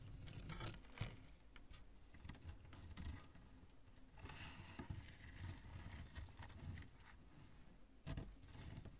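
Long nails tap and scratch the bulbous surface of a chunk of cured polyurethane spray foam. The result is a quiet, dense patter of soft, dull taps and scratchy crackles, mostly low and muffled, with a few sharper taps standing out briefly.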